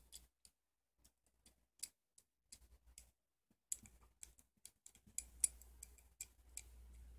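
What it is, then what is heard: Steel adjustable wrench being worked. A hand-sized, solid chrome-plated steel adjustable wrench is held in both hands over a red bandana while fingers turn the worm screw and slide the jaw. The result is quiet, irregular metallic clicks with a bright, short tick and almost no ring. The clicks come sparse at first, then grow denser and a little louder over a low hum.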